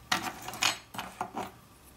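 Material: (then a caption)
Cured gel. Cured fingernails built with gel and dip powder are tapped with an object, giving five short, bright clicks with a brief ring. The taps sound like acrylic or gel nails, very firm even though the nails are not thick.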